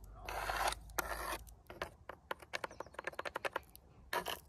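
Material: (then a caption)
Painted wood. Very long pointed artificial nails scratch along the grain of brown-painted vertical wooden boards on a flat, solid outdoor wall, making two bright, hissy scrapes. A quick run of sharp, dry taps on the wood follows, then the clip ends with one more short scrape.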